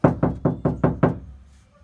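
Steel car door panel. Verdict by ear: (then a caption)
Hollow. Six knocks on a bare steel car passenger door panel, empty inside with no sound deadening, give low, hollow thuds centered around 150 Hz. Each knock dies away quickly. The door sounds hollow before any deadener is added.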